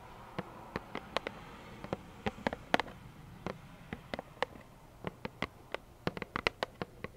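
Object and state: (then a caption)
Cardboard tissue box tapped with nails. A small, hollow plaid cardboard tissue box, held in both hands, is tapped with long nails. About 25 slow, irregularly spaced taps sound as sharp, dry clicks that die away almost instantly, each with a light hollow knock around 700 Hz, over a quiet, low background.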